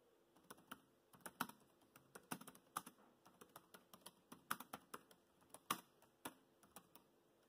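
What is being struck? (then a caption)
Plastic laptop keyboard keys. Fingertips type on the black plastic chiclet keys of a dark grey laptop keyboard, producing about 26 quick, separate clicks and taps at an uneven pace. Each key press is short and dry, with a low-mid body and a light, bright click, and some presses land harder than others.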